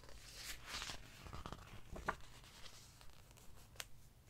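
Fingers lift and flip the glossy paper pages of an open hardcover book, crinkling them, while a palm rubs across the page surface. Soft papery swishes and rustles come with low, muffled handling noise, broken by a sharp tick at about two seconds and a bright, crisp snap of a page near the end.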